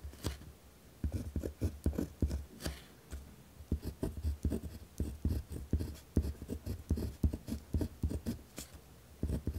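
A pen tip scratches firmly across a white lined paper pad resting on a wooden desk while writing. The sound is a run of short, dry scratching strokes with a deep, low-heavy body and brief faint high flicks. The strokes come in quick bursts separated by short pauses.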